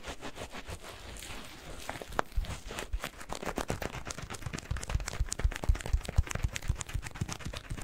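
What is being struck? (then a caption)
Rubber balloon filled with granular cat litter. A yellow latex rubber balloon filled with granular cat litter is squeezed and kneaded with the fingertips. It gives a steady run of dense, gritty crunches and crackles, mostly low and thumping with bright sharp clicks. The pace is about four per second and the sound builds slightly louder toward the end.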